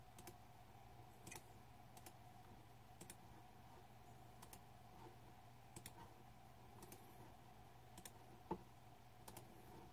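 Fingertips type slowly on a green-backlit Razer 2014 Deathadder mechanical keyboard with plastic keycaps, with a hand resting over the keys. Sparse, short, sharp key clicks sit over a steady low hum and a faint constant tone, with one louder clack near the end.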